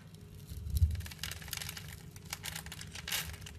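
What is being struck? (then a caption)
Bar of glycerin soap. A blade crushes and cuts flakes off a hand-held, solid, translucent purple glycerin bar soap scored in a diamond pattern. Soft low thumps sit under a series of bright, crackly crunching and crinkling scrapes, with the loudest bursts near the start and near the end.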